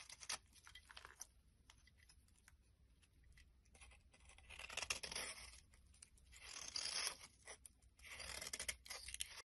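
A hand-held, solid, translucent brown-orange glycerin soap bar is scraped and shaved with a metal blade. Quiet, bright, crisp scratching and clicking builds into longer rasping shaving swells, with a few sharp ticks in between.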